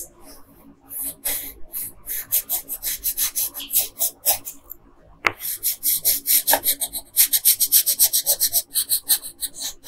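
A yellow wooden colored pencil, held in a hand with long pink nails, rubs back and forth across a flat printed paper coloring sheet while coloring. Quick, uneven, scratchy strokes with a bright, airy rasp follow one another, broken by a short quiet pause near the middle that ends with a sharp tick. The strokes then return more strongly and keep going to the end.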